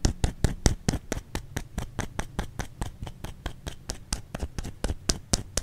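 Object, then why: Soap bar. A white solid bar of soap, held in the hand, is tapped and scratched with long fingernails. About 25 quick, evenly paced taps sound as short dry clicks, each with a soft low thump under a bright tick, with a faint scratchy texture in between. Each tap dies away almost at once.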